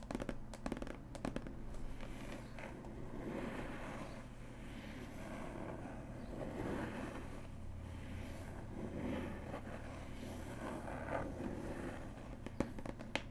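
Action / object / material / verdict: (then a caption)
scrape / cardboard box with paper label / cardboard / none. Long acrylic nails tap and scratch across the printed paper label of a closed, medium flat cardboard gift box holding a punch needle kit, which is lying on fabric. Quick, dry taps and short clusters of sharp clicks mix with soft, crackling scratches over a low steady hum.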